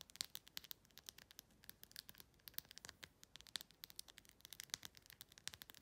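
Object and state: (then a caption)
Plastic rhinestone phone case. Long pink-red nails rapidly tap and scratch the acrylic rhinestones covering a clear plastic phone case. The result is a quiet, fast stream of crisp, bright clicks and ticks with almost no low end, each one dying away at once.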